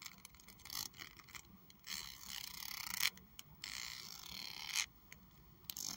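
Long acrylic nails scratch and flick along the thin teeth of a large, solid pink plastic hair comb held in one hand. The result is bright, dry ticking and raspy scraping in uneven bursts, with sharp clicks between longer zipping runs. A faint tone sits near 2.1 kHz.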